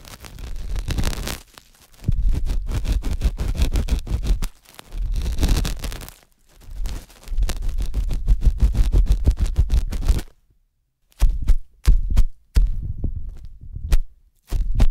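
A thin metal dental scaler held by hand is scratched and pressed inside the canal of a soft white silicone ear on a 3Dio binaural microphone. The result is close, deep, rumbling scraping in long bursts, then shorter separate scratches after a brief silence.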